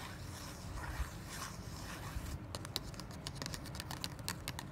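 A small, thin kraft cardboard card held in the hand is scratched and tapped with long black nails. Soft, breathy scratching fills the first half. From about 2.4 seconds it gives way to a run of sharp, bright clicking taps over a low rumble.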